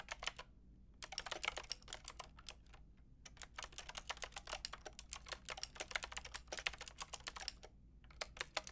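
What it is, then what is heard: Plastic mechanical keyboard being typed on. Fingertips with long red nails type and tap on a Lofree mechanical keyboard with a plastic frame and round keycaps. Quick, bright clicks come in bursts with short pauses between them over a faint low hum, and each click dies away almost at once.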